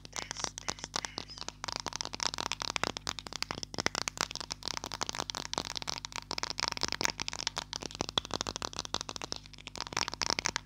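A small green and white plastic glue stick is held close and tapped rapidly with long lilac nails. The result is a steady stream of sharp, dry plastic clicks and light rattles that sound bright and high, with almost no ring after each tap.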